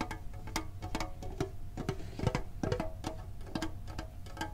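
A green printed hollow metal Pokemon card tin is held and tapped rapidly with the fingertips and short nails. Each tap is a quick, hollow metallic click with a short low ring, set over a steady low hum, in an uneven, busy rhythm.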